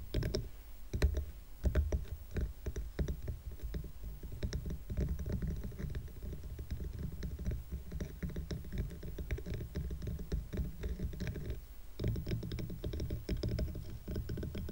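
Fingernails of both hands tap quickly on the top of a small stack of dark solid wooden coasters tied with twine. The rapid, dense patter of short, dull, low-pitched clicks runs steadily throughout, with a brief lull just before the tapping picks up again near the end.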